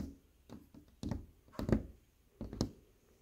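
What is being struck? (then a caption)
Stained glass window pane. Stained glass windows inside a house are tapped and knocked by hand. About eight short, dull knocks land in uneven pairs and singles, each one low and thudding and dying away almost at once with no ringing.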